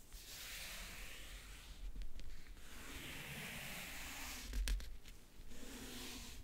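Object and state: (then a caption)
Faux-leather-covered backgammon case being scratched. A single fingernail slowly traces and scratches over the lid of a closed, hollow backgammon case covered in map-print faux leather (leatherette). It makes a soft, steady, bright scratchy hiss that swells and fades as the nail moves, with a couple of sharper, louder scrapes along the way.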